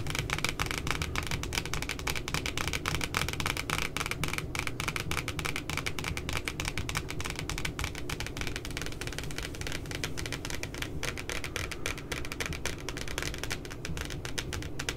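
Long glitter nails tap rapidly across the glossy, laminated cardboard cover of a pink spiral notebook. The taps are crisp, dry clicks with a bright edge around 2.3 kHz and almost no ring, running in a dense, steady stream over a constant low rumble for the whole clip.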